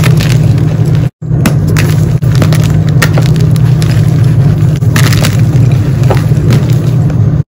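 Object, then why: Block of gym chalk. Solid blue-dyed gym chalk blocks are broken and crumbled by bare fingers, exposing the white inside as powder falls. A dense, steady crunching and crackling carries a heavy low rumble, with bright crackles scattered on top. The sound cuts out briefly just after one second and again at the very end.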